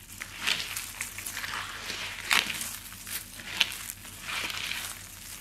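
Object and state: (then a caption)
Dry soap flakes being crushed. Fingertips grab and crush handfuls of thin, brittle, dry shaved-soap flakes in yellow, green and pink, all in the same pile. The result is a steady, bright crinkling crunch centered around 3 kHz with almost no low end, rising in short, crisp louder bursts as each handful is squeezed.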